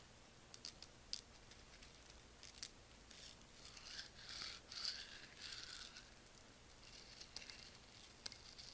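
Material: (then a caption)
Coffee beans. Hands scoop a handful of dry, whole roasted coffee beans from a lava stone mortar and let them trickle and drop back into the bowl. The beans clatter in quiet, bright, irregular clicks and short rattling bursts that die away almost instantly.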